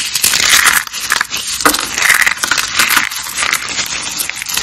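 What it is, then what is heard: Dry, brittle soap rolls. Dry purple and green glitter soap rolls and flakes, solid and brittle, are crushed in a hand. A steady run of bright, dry crunching and crackling snaps goes on throughout, with almost no low end.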